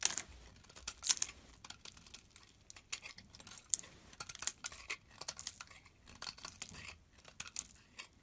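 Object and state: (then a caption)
Bar of soap being carved. A blade carves and scrapes flakes off a solid beige-peach bar of soap held in the hand. A quiet run of short, crisp scraping and crackling cuts comes through, bright and dry with almost no low end. A few cuts stand out sharper than the rest.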